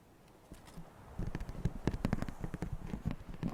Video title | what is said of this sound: [ASMR] Male Whispering, Random Sounds & Overwatch Ambiance | It's plastic, I mean. That's really weird. That's really cool.